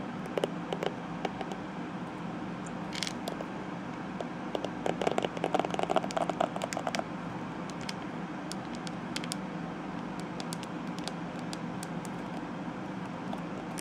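Long nails scratch and drag across the tips of a purple plastic detangling hairbrush's bristles, making quiet, scattered clicks and crackles over a steady low hum. The ticking grows denser and more scratchy in the middle, with a faint mid-pitched ring, then thins back out to sparse, bright clicks.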